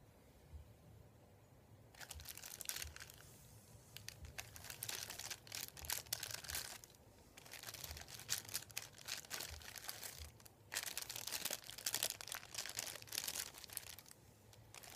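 Fingertips and nails rub, tap and crinkle a thin, flat, folded sheet of printed white paper lying on a wooden table. Bright, dry crackles and rustles come in three long bursts separated by short quiet pauses, with soft low taps beneath.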